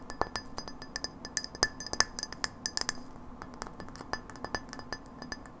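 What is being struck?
Glass light bulb with metal base.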